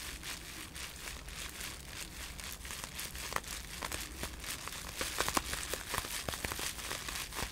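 A folded bundle of blue-tinted polyethylene bubble wrap with air-filled bubbles is held in both hands while the fingers squeeze and crinkle it. A steady, bright crinkling rustle runs throughout, with sharp, short clicks and snaps that grow denser and louder in the second half.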